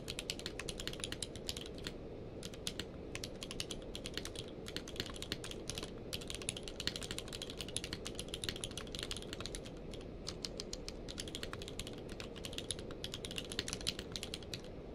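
A full-size plastic mechanical keyboard with a blue-grey case and white and grey plastic keycaps, lying on a blanket, is typed on rapidly with the fingertips of both hands. Quick, dense clicky key presses with a bright, sharp top sit over a steady low rumble. The clicks cut off almost instantly with no ringing.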